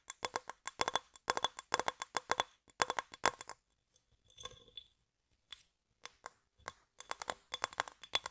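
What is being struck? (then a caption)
Conch seashell. A large, hollow, orange-and-white spiral conch shell of natural calcium carbonate is held in both hands and tapped and scratched with fingernails along its ridged surface. Rapid bursts of short, dry, clicky taps with a bright edge and a hard resonance around 1 kHz come in quick clusters with little ring. Between them, a softer patch of scratching and a few sparse taps fill a quieter middle stretch before the tapping picks up again.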